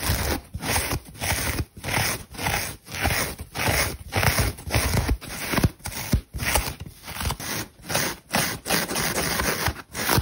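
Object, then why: Synthetic foam bath sponge. Long pink French-manicured nails scratch across the crispy surface of a dry, hand-sized, unicorn-shaped synthetic foam bath sponge, solid and porous, pink and white with a black eye print. The result is a run of dry, crackly scraping strokes that come in loose, irregular bursts with short gaps between them.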